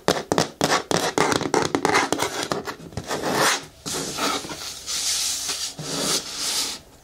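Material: Hard plastic.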